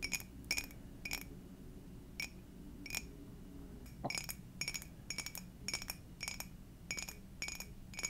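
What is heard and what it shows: An empty, hollow clear glass Garfield mug is tapped with long dark nails, giving a rapid series of short, bright clinks that ring near 2.3 kHz and die away quickly. The taps come in small clusters over a low, steady background hum.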